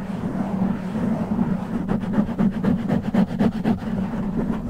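Both hands scratch and rub the fingertips over a soft, hollow black foam windscreen fitted on a large silver microphone head. A steady, muffled low rumble with a hum near 215 Hz runs throughout, and from about two seconds in it breaks into a quick rhythmic series of brushy scratching strokes, roughly four per second.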